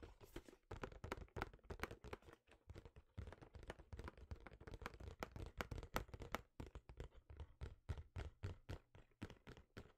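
A yellow and black printed cardboard retail box, held in both hands, is tapped with the fingertips in a rapid, steady series. Each tap is a short, dull thump that is mostly low in tone and dies away almost instantly, with only a faint papery click on top.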